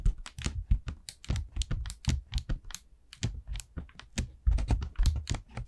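Long nails tap and scratch quickly across the surface of an expanded orange paper lantern made of hollow, thin paper stretched over wire ribs. The result is a rapid, uneven run of short, dry taps with a soft, hollow low thump and a bright, papery crackle on top. Each tap dies away almost instantly.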